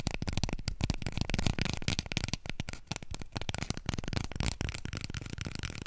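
Long nails and fingertips scratch quickly over a small, full roll of white toilet paper held upright in both hands. The result is a dense, continuous run of short, dry scratches with a soft papery rustle and a strong low thump beneath, steady in level throughout.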